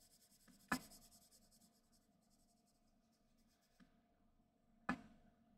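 A graphite pencil held in the fingertips is rubbed and scratched across a large flat white paper sheet with a graphite drawing on it, lying on a desk, to shade. The shading is a very quiet, soft, airy scratch with faint bright edges, broken by two sharp, brief clicks and a fainter tap between them.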